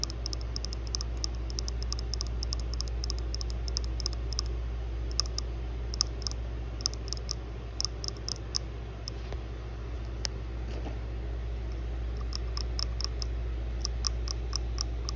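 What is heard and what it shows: Long blue nails tap quickly on the top and sides of a small white plastic USB wall charger with metal prongs, resting on pink fabric. Rapid, light, bright clicks come in uneven bursts over a steady low hum, each tap short with almost no ring.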